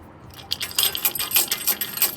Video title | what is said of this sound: Sway Bar Link Replacement - 2000 Ford F-150 | Sounds like a chain dragging along the floor while I'm driving.